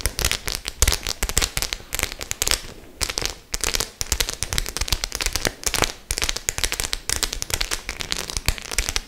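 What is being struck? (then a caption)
Faux leather clutch bag with metal studs. Long nails scratch and tap across the studs of a hollow white studded faux-leather clutch bag. The result is a dense, bright run of crackly clicks and scrapes, with a brief lull around the three-second mark.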